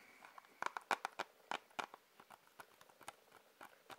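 Fingers tap on a plastic Blu-ray case, giving about 15 quick, light, clicky taps at an uneven pace. The taps are sharpest and loudest in the first two seconds, then continue softer. Each tap is brief and bright with almost no ring and no low-end thump.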